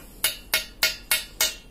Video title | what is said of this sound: Review Knalpot Terbaik Ninja RR 150, Knalpot Ori Bobokan | yang udah di bobok nih suaranya nyaring